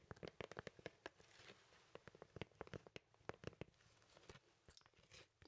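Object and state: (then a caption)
Cardboard record sleeve. A large, thin, flat cardboard vinyl LP record sleeve is held in both hands while fingers and nails scratch and tap its printed surface. Quick, dry, crunchy taps pop out one after another over soft, bright scratching, each dying away almost instantly. The overall sound is quiet and close.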